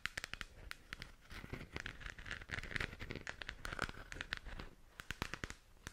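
Long nails scratch and tap the textured shell of a hollow plastic galaxy moon lamp held in both hands. The result is a quiet, dense crackling scrape broken by many sharp, dry clicks, with a hollow resonance around 2 kHz that barely rings after each tap.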